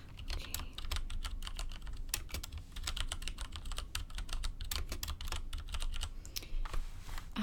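A full-size mechanical computer keyboard with a black case and beige, grey and orange plastic keycaps sits on a table. Fingertips with long red-painted nails type and tap across it in a steady stream of quick, clicky keystrokes. Each keystroke is bright with a short decay, over a low background rumble.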